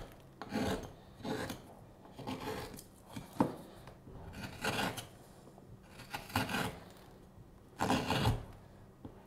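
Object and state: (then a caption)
Wooden spoon blank being scraped. A steel hook knife scrapes the bowl of a solid light wood spoon blank with a curved handle in repeated strokes. Each stroke makes a dry, rasping scrape with a bright edge. Short quiet gaps separate the strokes, and there is no ringing after them.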